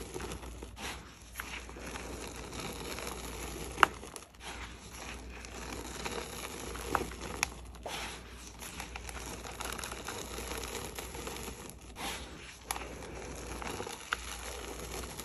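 Gloved hands press dry, pinkish crushed red gym chalk powder into a mound on a plate, then crumble and rub it. A steady soft crunching and crinkling runs throughout, broken by a few sharp, brief crackles over a faint low hum.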